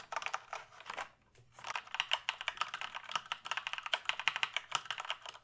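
Fingertips type on the keys of a full-size plastic gaming keyboard held tilted, making a rapid run of bright, crisp plastic clicks and clacks. The keystrokes pause briefly about a second in, then continue in a dense, uneven patter, each tap short and dry with almost no low end.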